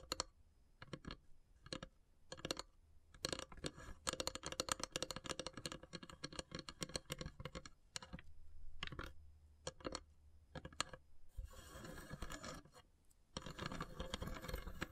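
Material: Wood.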